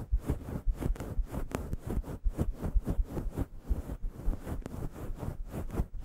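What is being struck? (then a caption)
Faux fur microphone windscreen. Fingertips and long yellow nails scratch and scruff a fist-sized grey faux fur microphone windscreen. The result is a continuous stream of deep, muffled rustling and soft thumping bursts, heavy in low-end rumble, with occasional brief, sharper scratchy streaks. The strokes come at an uneven pace, roughly two per second.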